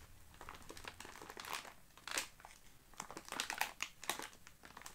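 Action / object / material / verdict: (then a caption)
scrape / plastic film cookie package / plastic film / none. A sealed, full package of Oreo Space Dunk cookies in crinkly plastic film lies flat on a grey carpet while both hands press and squeeze it with fingertips and palms. The wrapper gives off a steady run of bright, sharp crinkles and crackles that come in uneven bursts. The crinkles are quiet overall, with a few louder crunches near the middle and the end.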